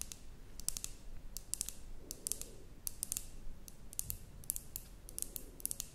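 Long nails tap and scratch a glass terrarium jar with a cork stopper that holds soil and moss. Quick, bright, sharp clicks come in clusters over a soft low rumble, with a faint scraping texture between the taps.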